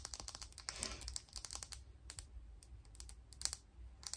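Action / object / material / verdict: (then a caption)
tap / plastic makeup brush handle / plastic / none. A thin, hollow black plastic makeup brush handle, held in one hand, is tapped and scratched with long pink nails. A quick, uneven run of sharp, dry, bright clicks with almost no ring is heard, broken by a brief scratchy rasp near the start. A low steady hum sits underneath.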